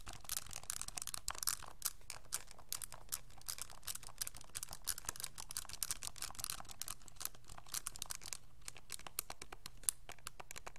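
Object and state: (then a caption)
Plastic graphing calculator keys being pressed. Fingertips press and click the plastic keys of a pink TI-84 style graphing calculator with a hollow hard plastic case, held upright. A quick, steady run of dry, bright clicks and tapping sounds over a faint low hum, each click ending almost instantly without ringing.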